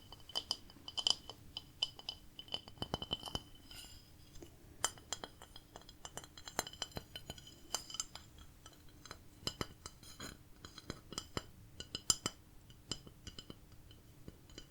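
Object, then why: Ceramic plate. A ceramic plate decorated with cats is tapped over and over, giving a rapid, irregular run of bright, glassy clinks. Each tap is short with almost no ring, over a quiet, steady low hum.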